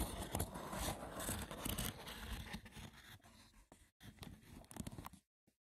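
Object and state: Wicker basket, scratched.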